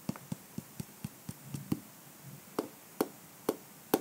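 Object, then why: Hard-shell clutch purse with rhinestones. A pink calendar block held in the fingertips taps and scratches the rhinestone brooch and cream textured covering of a small, hollow, egg-shaped hard-shell clutch purse. The result is a series of short, dry, irregular clicks with a mid-pitched hollow body and bright edges, separated by faint scratching.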